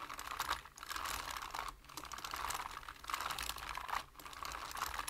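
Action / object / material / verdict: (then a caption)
tap / plastic computer keyboard / plastic / none. Fingertips of both hands tap quickly on a black plastic computer keyboard with hollow keys. The result is a dense, clicky patter centred around 1 kHz with bright, crisp edges. It comes in steady bursts broken by brief pauses roughly every second.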